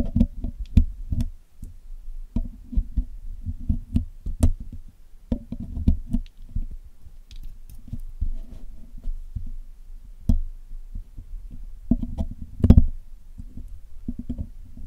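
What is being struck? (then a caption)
Steel picks on a metal mesh microphone grille. A steel hook pick and steel tweezers pick and scratch at the mesh wires of the black hollow metal mesh grille of a Blue Yeti microphone while cleaning it. This produces a close, irregular stream of dull, low thumping taps and small clicks, with brief scratchy rasps between them. Each tap dies away almost instantly with a faint bright tick on top.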